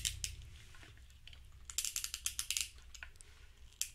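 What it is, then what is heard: Plastic fidget cube. A small grey hollow plastic fidget cube with dark rubber buttons and switches is held in both hands, with a second cube resting nearby untouched, as fingertips and a thumb press and flick its controls. Short, bright, dry clicks come in two quick snaps, then a quieter stretch of soft fiddling, then a rapid burst of crisp clicks and one last snap near the end, over a faint low hum.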